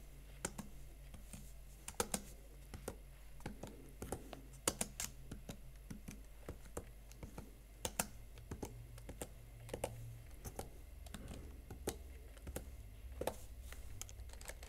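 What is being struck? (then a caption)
Plastic laptop keyboard keys. Fingertips type quickly on the plastic keys of a Huawei MateBook X Pro laptop keyboard, producing a steady run of short, sharp clicks. The taps are crisp and dry with a few brighter, louder strokes, over a faint low hum.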